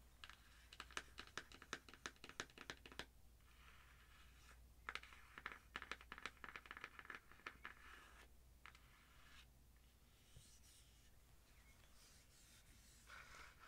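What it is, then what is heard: Cardboard palette box tapped with nails. A small, flat, hollow ColourPop "Secret Admirer" cardboard eyeshadow palette box is held up close and tapped and scratched with long acrylic nails. Quick runs of sharp, dry clicks come in bursts, separated by softer, bright scratching and rustling over a low, steady background hum.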